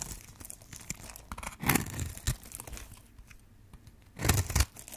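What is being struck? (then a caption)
Bar of soap cut with a metal blade. A metal blade carves and scrapes cubes into the surface of a green and white striped solid bar of dry soap held in the hand, and flakes crumble off. Dry, crackly scraping and crunching runs throughout, with louder, fuller tearing bursts near the start of the second half and again near the end.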